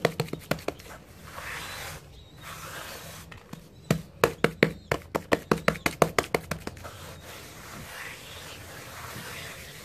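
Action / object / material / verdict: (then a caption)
scrape / cement powder in a tray / cement / none. Both bare hands rub and sweep their palms and fingers across a flat, solid mound of dry grey cement powder, crumbled from cement hearts and lying in a tray, scraping and smoothing the surface. A steady, soft gritty hiss runs throughout, broken by a few sharp, dry pats near the start and a quick burst of them in the middle.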